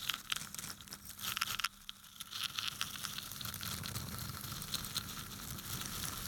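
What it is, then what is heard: Wooden toothpicks being scratched. Fingertips brush and scratch across the upturned tips of wooden toothpicks packed into a small yellow cylindrical container held in one hand. The sound is a dense, bright, crackling scratch with a crinkly rustle, loud and choppy for the first second and a half. After a brief quieter dip, it settles into a steady, continuous scratching.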